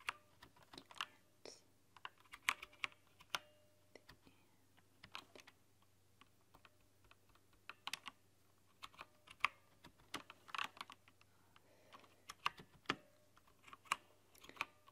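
Long nails and fingertips type on a rainbow-lit plastic backlit mechanical keyboard, tapping the keycaps. Quiet, bright, irregular clicks and clacks come in uneven bursts, each dying away almost instantly over a faint steady low hum.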